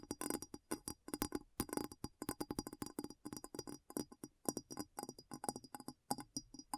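A glass bowl is tapped quickly and repeatedly, producing a steady stream of short, clinking taps. Each tap carries a low tone near 290 Hz and a faint, high glassy ring that dies away almost at once.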